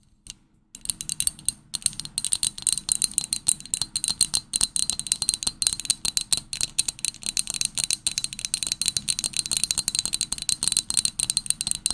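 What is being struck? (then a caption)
Glass drinking tumbler. An empty, small, hollow pink Pottery Barn glass tumbler is held close and tapped and clinked with long manicured nails. After a brief quiet start, rapid, steady streams of sharp, bright clicks follow, each with a high glassy tick and almost no ring or low end.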